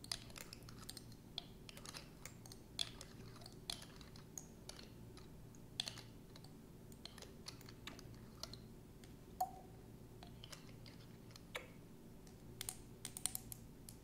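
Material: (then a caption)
Glass. Long acrylic nails tap a medium clear glass bottle with a threaded neck, partly filled with amber liquid and held in one hand. Quick, sharp, clicky taps come in irregular bursts, each dying away almost instantly, over a faint steady low hum.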